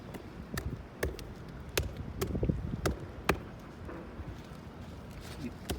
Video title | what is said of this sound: TrafalgarSquare Front wall pt1 | may be able to pick up the hollow sound